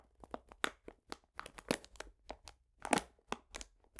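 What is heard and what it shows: A medium printed paper bag full of cane sugar is squeezed and rubbed with fingertips. The result is irregular, dry crinkling and crunching bursts that are brief and broadband with bright tops, and the louder crackles stand apart against a quiet background.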